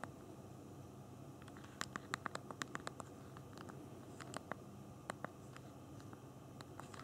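Thumbs type a message on the backlit plastic QWERTY keyboard of a BlackBerry Q10 phone held in both hands. Short, dry, bright key clicks come in irregular bursts, with a quick cluster in the middle, over a low steady background hiss.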